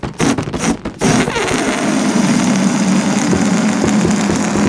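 A large inflated orange latex balloon, hollow and air-filled and resting on a wooden table, is tapped and scratched with long nails from both hands. A few quick, separated taps in the first second give way to a steady, dense scratching rustle over a low, hollow resonance.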